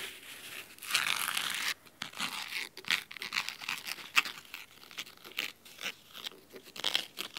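Fingernails scratch the red cloth spine of a large, thick, solid fabric-covered hardcover book. A longer, steady scrape is followed by many short, crisp, dry strokes. The sound is bright and rasping with almost no low end.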